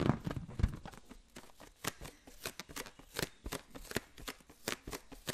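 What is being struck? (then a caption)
Latex balloon filled with water. A green latex balloon filled with liquid is held in the hand and tapped with a fingertip. It makes a quick, uneven series of soft, dull pats with a low, muffled thump and brief bright, splashy edges. Each tap dies away almost at once.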